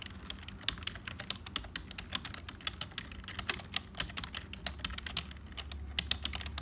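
Fingertips of both hands type continuously on a hollow, black, full-size HP plastic keyboard. The result is a rapid, uneven stream of sharp, bright plastic clicks that stop dead with no ring. A faint steady low hum runs underneath.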